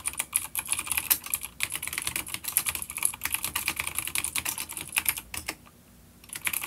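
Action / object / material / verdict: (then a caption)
tap / plastic mechanical keyboard with clicky switches / plastic / none. Both hands type rapid fingertip key taps on a full-size, dark grey plastic vintage mechanical keyboard with grey and dark keycaps and clicky blue switches, an older B-grade unit resting on a wooden desk. A dense run of bright, sharp clicks fills the clip, pauses briefly near the end, then resumes.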